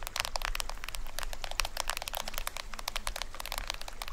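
Fingertips and nails tap and scratch the printed plastic film head of a small hollow toy drum with a green rim. A dense run of quick, dry, crackly taps and scrapes sounds bright and papery above a low, steady rumble, with each tick dying out almost instantly.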